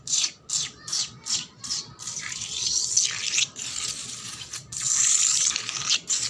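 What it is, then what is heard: Wet concrete floor. Long black nails scratch and rub a wet, solid painted concrete floor. A run of quick, separate scratching strokes gives way to longer, continuous rubbing, making a bright, hissy, gritty sound with almost no low end.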